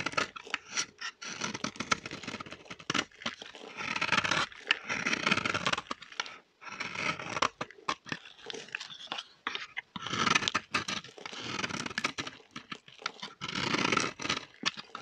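A metal blade scrapes shavings off a solid, dry orange bar of soap held in the hand. The sound is a series of dry, crunchy, tearing scrapes in bursts separated by brief pauses. It is bright and papery, with little low end.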